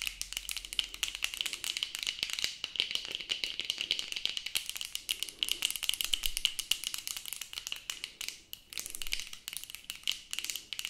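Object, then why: Plastic sunglasses frame. Plastic-framed sunglasses worn on the face are rapidly tapped with long acrylic nails, producing a fast, dense rattling of sharp, dry clicks. The sound is bright and high with little low end, each tap dying away almost instantly, in a near-continuous stream with a few brief pauses.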